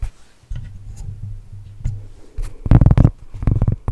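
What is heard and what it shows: A large, flat, round solid cork trivet is tapped and scratched with long nails and fingertips close to the mic. Soft, low scratching rustles give way to a cluster of quick, dull, thudding taps that stop almost instantly, with no ring.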